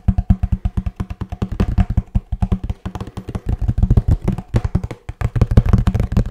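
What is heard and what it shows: Fingertips and nails tap rapidly on a hollow kraft cardboard box with a blue band while the box is turned in the hands. The result is a fast, steady run of short, dull, boomy knocks with a low hollow resonance and almost no ring.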